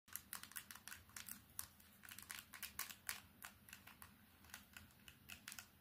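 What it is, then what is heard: Plastic keypad mobile phone. Long painted nails tap fast on a small old candybar keypad mobile phone with a plastic body, silver trim and a screen, striking its front, keypad and sides. The result is a rapid, uneven run of dry, bright plastic clicks that die away almost instantly, over a faint low hum.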